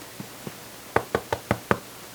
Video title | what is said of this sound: How to Make Rustic Italian Bread - Hearty Soups & Rustic Breads - Homemade Italian Bread Recipe | nice Hollow tap on the bottom